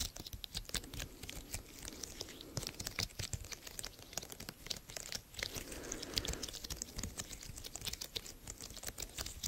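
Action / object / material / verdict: tap / silicone bubble fidget toy / silicone / none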